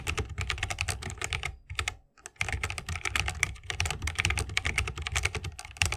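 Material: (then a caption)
Plastic, wood. Fingertips of both hands type continuously on a 60% mechanical keyboard with plastic keycaps and Holy Panda tactile switches in a bamboo wooden case. A rapid stream of short, bright key clacks rides over a deep, low thock from each press, with a brief pause near the two-second mark before the typing resumes steadily.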